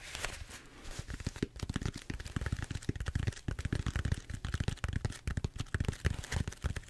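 Fingertips rapidly tap and scratch the surface of a large purple bead-foam styrofoam roller held upright. The result is a dense, fast run of short, dull low thumps mixed with dry crinkly scratching that rustles higher up. Each tap dies out almost instantly.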